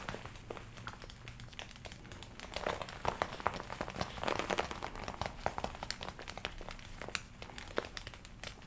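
Long nails scratch and rub the shoulders and sleeves of a worn red leather jacket with black panels, worn with arms crossed, crinkling the leather. Dense crinkles and scratchy rubbing are broken by many sharp, bright ticks, growing busier and louder in the middle before easing off, over a faint steady low hum.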